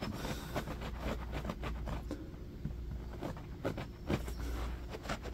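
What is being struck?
Low-pile carpet.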